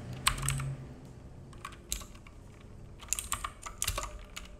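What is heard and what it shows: A black full-size mechanical keyboard with plastic keycaps and a hollow case sits on a wooden desk and is typed on with the fingertips of both hands. Irregular bursts of sharp, bright, clacky key taps with a hollow thock come in quick clusters, separated by short quiet gaps.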